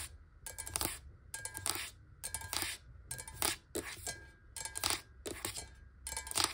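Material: Glass.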